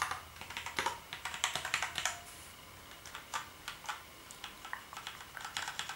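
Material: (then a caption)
Plastic. Fingertips type on the keys of a black plastic gaming keyboard. A steady run of bright, sharp plastic clicks comes through with almost no low end, each tap dying away quickly. The clicks are densest in the first two seconds, ease off briefly, then continue in a quicker, lighter patter.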